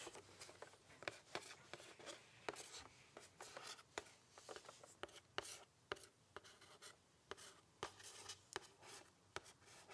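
Long fingernails scratch and tap the printed front of a closed, medium-sized red cardboard "Fragrance Discovery Vault" gift box, likely holding perfume sample vials, held upright in one hand. About 21 quiet, dry, sharp taps ring out against a soft, bright scratching rasp, each tap dying away almost instantly.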